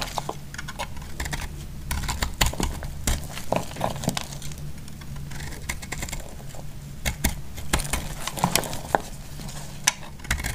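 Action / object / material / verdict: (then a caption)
scrape / bar of soap cut with a metal blade / soap / none. A solid orange soap bar is cut into crumbly chunks with a metal blade, giving a run of short, dry crunches and sharp clicks with bright edges and almost no ring. A steady low hum sits underneath throughout.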